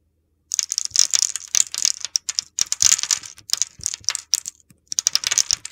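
A utility knife blade scrapes across a solid oval red soap bar scored in a grid, crumbling small cubes off it. The sound is a dense run of crisp, bright, gritty scraping and crunching bursts with no low end, each crackle dying away almost instantly. Brief pauses break the crunching, which starts after a half-second of silence and picks up again near the end.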